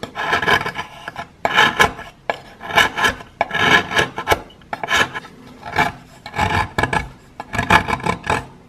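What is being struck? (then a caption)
Plaster chunk scraped with a metal blade. A metal knife blade scrapes a solid piece of plaster above a pile of powder, making a series of gritty, rasping strokes. Each scrape is a dry, bright burst with short gaps between them, and the sound stops quickly after each stroke.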